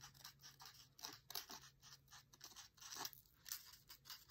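A dried grass or reed stem is scratched and traced along a printed page of an open paper cookbook lying flat on a table. A quiet run of short, dry, bright scratching strokes rises and falls in quick bursts, with almost no low end and no ring after each stroke.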